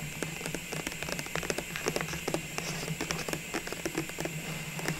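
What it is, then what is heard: Clear plastic ornament tube. A tall clear plastic cylindrical container full of small Christmas ball ornaments, its lid removed and lying beside it, is held in both hands and tapped and scratched with long nails. Quick, light, bright clicks and ticks come in an irregular patter over a low, steady hum. Each tap dies away almost at once.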